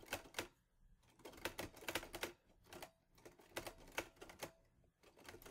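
Fingertips type on the keys of a teal metal Olivetti Lettera 22 portable typewriter. Sharp, bright clacks land in quick, uneven bursts separated by short pauses, each strike dying away almost immediately.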